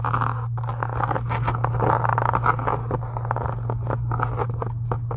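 Long acrylic nails scratch and tap the surface and edge of a closed pink embossed faux leather journal cover resting on a desk. Dense, dry scratching and quick taps crowd the mid-range, over a steady low hum that runs the whole clip.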